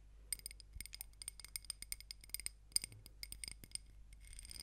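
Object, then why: Small ribbed glass jar filled with wax. A small ribbed glass candle jar filled with solid pink wax is held in both hands close to the mic and tapped and scratched with long nails on its glass sides and rim. The result is a quick run of about twenty-two bright, clicky glassy taps that stop dead, with no ring. Softer scraping runs between the taps over a low steady hum.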